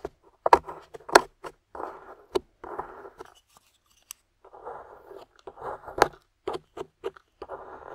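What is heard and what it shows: A small metal spatula scrapes a thick, dry beige clay or plaster crust, with a dark piece embedded in it, off a solid translucent glycerin soap bar held in the hand. Short gritty scraping strokes alternate with sharp clicks and crunchy taps as the crumbly clay breaks away. The sounds are dry, with almost no ring.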